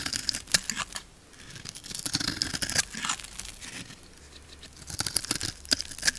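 A metal blade scrapes and shaves the lacquered coating off a solid blue bar of soap with a pink layer underneath, held in one palm. Bright, dry crackling and crisp scraping come in quick bursts, with sharp snaps standing out over a soft hiss between strokes.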